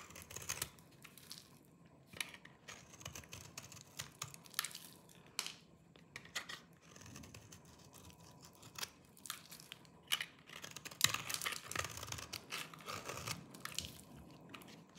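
A hand-sized solid bar of dry green soap is held in one hand while a small knife with a yellow-tan blade shaves and scrapes its surface, and crumbly flakes fall off. Quiet, bright, dry scraping and crunchy crackles come in short bursts across the clip, each dying away almost at once.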